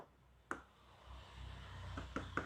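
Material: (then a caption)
ABS plastic. Short, sharp taps on the hard ABS plastic body of a Stanley SST 1801 table saw, the same kind of plastic used for motorcycle and vehicle bodies. One tap comes early, then a quieter stretch, then a quick cluster of taps near the end. Each tap gives a dry, hollow click with a mid-high tone that dies away almost at once.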